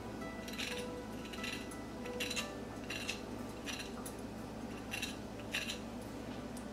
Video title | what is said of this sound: Korean Fried Chicken - Fried Chicken Recipe - Crispy Fried Chicken with Sweet and Spicy Sauce | run my fork through the chicken and you will hear how crispy the coating is